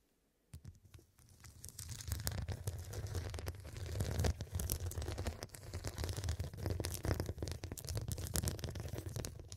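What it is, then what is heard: Glass-studded pillow. Long, dark, pointed nails tap and scratch across the square faceted glass studs covering a medium-sized, soft, filled fabric cushion. After a brief silence, a dense, steady stream of sharp, bright clicks and scraping taps begins, layered over a soft, low, muffled thump from the padded cushion. The sound carries on unevenly to the end.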